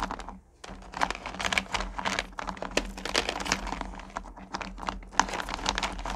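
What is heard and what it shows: Fingers with long nails rake and stir through a purple plastic bucket full of small, solid candy corn pumpkins. The result is a dense, continuous clatter of bright, sharp clicks and rattles with no ring, pausing only briefly near the start, over a faint steady low hum.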